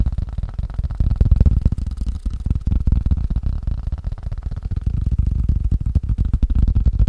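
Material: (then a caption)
Wood, rubber. A wood and rubber ping pong paddle is fast-tapped, producing a rapid, uneven stream of dull, low thuds. The taps are short and damped, with almost no high-frequency content.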